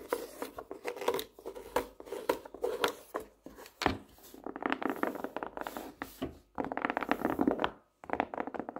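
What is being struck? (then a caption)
Cardboard hardcover notebook. Long nails tap and drum on the cover of a plaid hardcover notebook, first held upright and then lying flat. Quick, dry, clicky taps come in uneven bursts and rolls, with short pauses between them.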